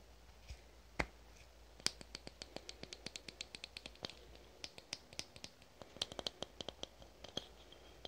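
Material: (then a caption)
Aluminum. A fingernail taps and scratches on the body of a red aluminum spray can held in both hands, making about 36 quick, bright metallic clicks at an irregular pace. The clicks are quiet and die away almost instantly, with a faint high ring and soft scratchy rubbing between taps.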